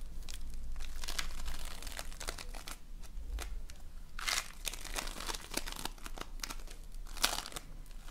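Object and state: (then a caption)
Foam bead slime (floam). A colorful lump of foam bead slime (floam) is squeezed, folded and pressed between both hands. It gives off a steady stream of irregular, bright crinkling and crackling pops with soft squishing over a low background rumble, with a few sharper bursts standing out.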